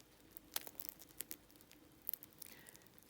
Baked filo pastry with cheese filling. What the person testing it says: you can still hear cracking the dough